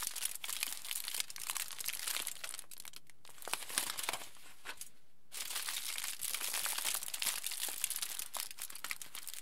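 A large, thin sheet of thick aluminium foil lies flat on a table, then is lifted and crumpled and crinkled by the bare fingertips of both hands. Dense, bright crackling fills the clip, broken by a short lull near three seconds and a near-silent pause just before five seconds. Steady crinkling then resumes to the end.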